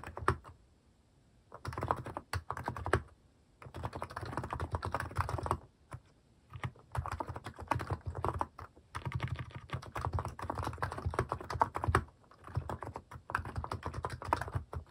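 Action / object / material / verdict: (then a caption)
tap / plastic mechanical keyboard / plastic / none. Fingertips type quickly on a cream Hanmumu mechanical keyboard with plastic cat and paw keycaps resting on a desk. Rapid bursts of short, deep clacking keystrokes with a low thocky body come in runs separated by brief pauses.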